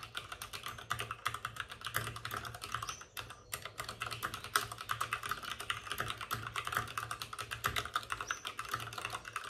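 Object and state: Plastic mechanical keyboard.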